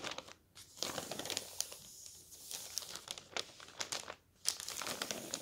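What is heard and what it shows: Thin newspaper sheets on a table are folded, lifted and crinkled with the fingertips of both hands. The result is dense, bright crinkling and rustling made of many quick crackles, broken by a couple of brief near-silent pauses.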